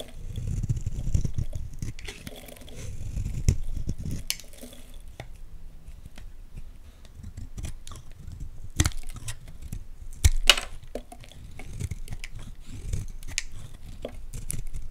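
A utility knife blade carves chunky flakes from the edge of a solid orange Lux soap bar held in the hands. Soft, low scraping and crumbly shaving sounds run throughout, broken by sharp, brief bright snaps as flakes break away.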